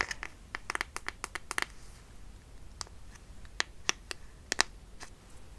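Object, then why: Plastic squeeze tube. A small, white, squeezable plastic hand cream tube, partly full, is held in both hands close up while fingertips and short nails tap, squeeze and crinkle it. Sharp, bright clicks with no ring come in a quick cluster in the first two seconds, then as scattered sharper taps over a quiet, soft hiss.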